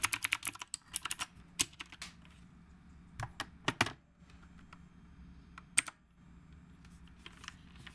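Fingertips of both hands type on a black retro typewriter-style mechanical keyboard with round plastic keycaps. Bright, sharp key clicks come in a dense run at the start, then thin out into scattered single clacks with quiet gaps in between. Each click dies away almost at once over a faint low background hum.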